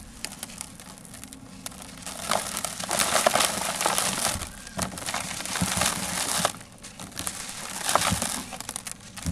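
Bare fingertips rub and crumble the surface of a large, rectangular, grey sand-cement block, which is solid, porous and dry, held over a blue plastic tub. Gritty sand falls away with a dense, dry crackling and crunching. The sound is bright and fast, swelling louder through the middle of the clip and again near the end.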